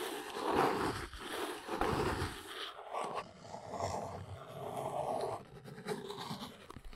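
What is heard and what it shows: A small brown cardboard box resting on a rug is scratched and tapped across its top surface by long acrylic nails. Dry, raspy scratching strokes mix with soft, hollow papery taps at an irregular pace, each fading quickly.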